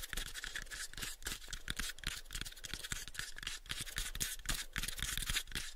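A light, pale wooden box is gripped in both hands while fingernails scratch and tap across its faces. A steady, dense bright scratching runs throughout, broken by quick, irregular taps with short dull low thuds that fade almost at once.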